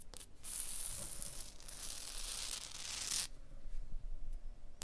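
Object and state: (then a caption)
Limestone block wall. A fingertip and a long blue nail tap and scratch across limestone blocks of a wall, over a crack and a mortar joint. A steady, bright rasping scrape runs for about three seconds, then cuts off, leaving softer, duller taps and rubbing with low rumble.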